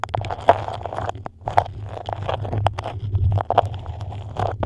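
Long acrylic nails scratch and tap a thin printed beeswax-coated cotton food wrap, white with a dark pattern, moulded over a microphone. Crinkly, waxy scratching and quick sharp taps sit over a steady low rumble throughout.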